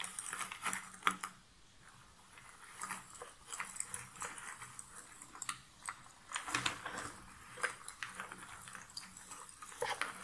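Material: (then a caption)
Cardboard. A hand with long nails scratches and stirs through a pile of cardboard jigsaw puzzle pieces in a box lid. The result is a quiet, dry, bright rustling and clicking with many short scratches and small clatters. Several louder bursts stand out.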